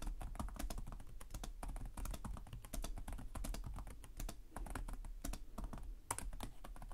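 Fingertips of both hands tap rapidly on the low-profile plastic chiclet keys of a black laptop with a hollow body, producing continuous typing. The result is a dense stream of short, crisp clicks with bright tops, each dying away almost instantly, over a steady low hum.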